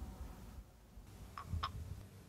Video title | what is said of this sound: COME PRELEVARE E CONSERVARE I SEMI DEL POMODORO | passate circa quattro ore i nostri semini sono ben secchi si sentono che scuotendo il barattolo tintinnano tra di loro